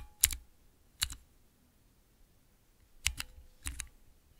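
Fingertips press the keys of a small transparent acrylic 9-key mechanical keypad fitted with Cherry MX switches, typing rapidly. Sharp, bright plastic clicks come in short clusters separated by quiet gaps, each press dying away almost instantly.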